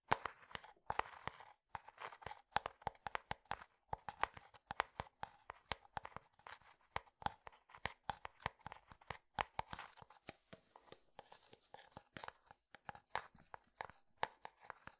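Fingernails tap and scratch on a translucent plastic jar with a white lid and pale contents. Quick, dry clicks with almost no ring come in a steady, irregular stream, mixed with brief bright scratching and crinkly rasps. Energy sits mostly in the mids, with little low end.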